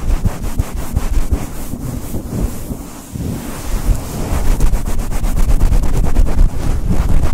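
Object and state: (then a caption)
Faux fur microphone windscreen being rubbed. A fluffy grey and white synthetic faux fur windscreen fitted over a Blue Yeti mic is rubbed fast with the fingers and long nails. The result is a loud, dense, low rumbling rustle, with quick scratchy strokes of roughly four per second. It dips briefly around the three-second mark, then grows louder and steadier to the end.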